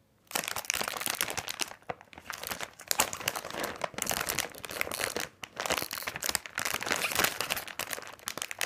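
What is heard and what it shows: Fingertips press and rub a large printed plastic bag of candy corn full of small packs, producing dense, bright crinkling. It runs almost nonstop for about eight seconds, with brief pauses near 1.8, 5.4 and 6.4 seconds.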